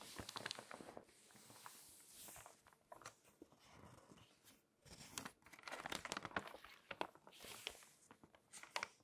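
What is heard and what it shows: An open glossy paper magazine has its pages rubbed by a palm and long nails and turned. Soft crinkly rustling and brushing swells and fades, broken by many sharp, bright ticks and flicks as nails catch the paper and pages flip. The sound is thin and dry with almost no low end.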